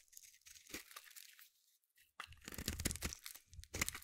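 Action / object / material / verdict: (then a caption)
scrape / bar of soap scraped with a small metal blade / soap / none. A small metal blade carves and scrapes shavings off the edge of a palm-sized solid yellow bar of soap. Crisp, bright crunching and scraping bursts come in quick strokes, then fall to a near-silent pause. After that, the denser, louder scraping returns with a low thud underneath.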